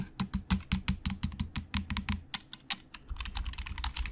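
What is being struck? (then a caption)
Plastic computer keyboard keys. Fingertips type fast on a black plastic Logitech keyboard with hollow plastic keys. It makes a quick, uneven run of short, clacky taps, each with a dull low thock and a brief bright click. The taps get softer and closer together toward the end.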